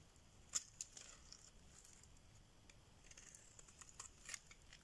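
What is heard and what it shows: A solid cream rectangular bar of dry soap, held in the palm, is carved and scraped with a metal blade, peeling off thick shavings. Quiet, bright, dry scraping is broken by sharp, crisp snaps and clicks as the blade bites through the soap.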